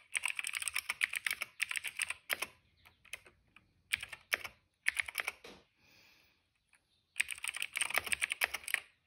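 Fingertips type on a cream plastic retro mechanical keyboard with plastic keycaps and a hollow case, producing bright, clicky key strikes in quick bursts. The rapid clatter comes in runs separated by brief pauses, each keystroke short and sharp with almost no ring.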